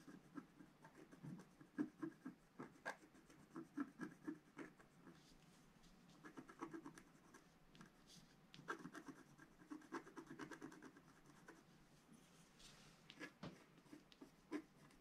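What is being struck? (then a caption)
Scratch art paper (coated black card) with wooden stylus. A wooden stylus scratches fine lines into the coating of a flat black scratch art card lying on a table, while the other hand holds the sheet flat. Soft, dry scratching and rasping strokes come in bursts with short pauses, set against a quiet background.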